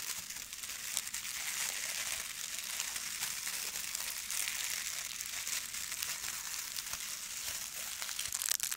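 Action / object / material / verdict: scrape / plastic foil ribbon gift bow / plastic foil / none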